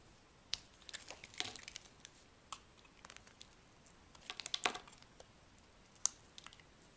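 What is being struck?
Bar of soap.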